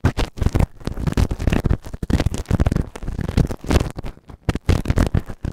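A pointed white plastic tool is pushed into the canal of a grey silicone ear model that serves as a microphone, scratching against the silicone. The result is a dense run of close, muffled scratching and rubbing bursts with a heavy low rumble and very little high content, the bursts stopping dead with no ring between them.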